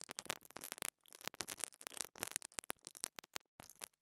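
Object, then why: Small plastic microphone capsule scratched with a bristle brush. A pink dental brush repeatedly scratches the top of a small black plastic lavalier microphone capsule held in fingers. The result is quiet, bright, dry scratching in quick bursts with short silent gaps and almost no low end.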